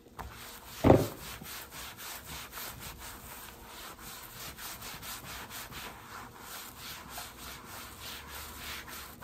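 A large, flat, translucent plastic storage box lid lying on a table is wiped and rubbed with a microfiber cloth held in a gloved hand. One sharp knock comes near the start, followed by a steady, soft run of rhythmic rubbing strokes with a faint airy brushing texture.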